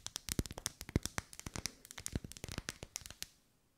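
Long pale almond-shaped nails tap and scratch along the vertical ribs of a lit, hand-sized pink pillar candle of solid wax held in both hands. A rapid, irregular run of dry, sharp clicks with bright, crisp edges and a few heavier taps, each dying away at once. The tapping stops just after three seconds, leaving a faint quiet tail.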